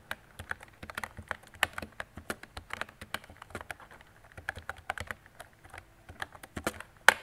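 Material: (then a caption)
Plastic. Fingertips with long decorated nails type on a mint-green retro mechanical keyboard with round plastic keycaps and a hollow body. A steady run of quick, dry clacks and taps comes through, each dying out almost instantly with little low end. One sharper, louder click stands out near the end.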